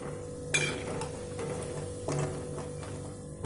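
Wheat-flour gudpara frying in oil are turned against the side of the pan, giving three short rattling clinks over a steady low hum. The slight rattle shows they are nearly fried through and need only one or two more minutes on low heat.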